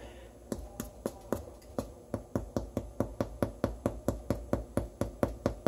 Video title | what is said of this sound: 178. Hollow sound cooked bread makes. #sourdough #oven #spring #ear | There's like a thudsy, hollow sound that comes from within the loaf.